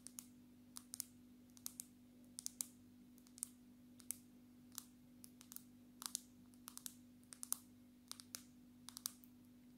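Long natural fingernails tap on the glass screen and back of a handheld black smartphone in a solid dark red case. A quick, irregular run of sharp, bright clicks dies away almost instantly, over a faint steady low hum.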